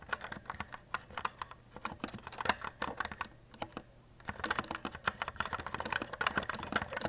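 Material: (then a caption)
Plastic. Fingertips type continuously on a white E-Element Z-88 RGB mechanical keyboard with plastic keycaps resting on a desk. It produces a rapid stream of short, bright plastic clacks with almost no ring. The typing briefly thins into a near-quiet lull around the middle, then resumes denser and slightly louder.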